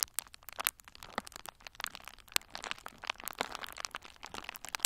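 A hand-sized bundle of pink and red plastic bubble wrap with hollow, air-filled bubbles is held in both hands and squeezed with the fingertips. It gives a rapid, irregular series of sharp, bright pops over steady crinkling, each snap dying away almost instantly.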